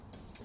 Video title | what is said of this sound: 煤气用完了，瓶底还有异响，藏有何玄机？ | 我来晃一下它，听到没有？里面有沙沙的声音。